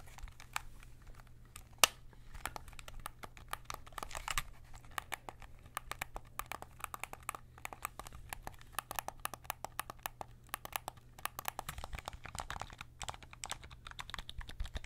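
A white and black PS5 DualSense controller, a hollow plastic shell held close up in both hands, has its thumbsticks and face buttons pressed and tapped by fingertips. It gives a quiet, continuous stream of short, bright, clicky plastic taps with one sharper click near the start, over a steady low hum.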